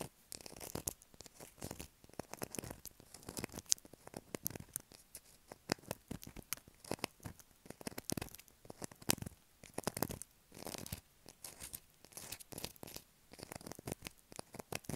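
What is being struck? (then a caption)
Solid bar of soap. A light blue solid bar of soap is held in the hands and scratched and carved with long black acrylic nails, sending soap shavings falling onto the table. Quick, dry, bright scratching bursts crackle in an uneven rhythm, with crisp tearing-like scrapes and short pauses between them.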